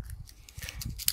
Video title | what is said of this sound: 👨‍🌾Que semer pour l'hiver❓Superbe récoltes d'été 🌞❗ | quand on secoue ça fait comme une maracasse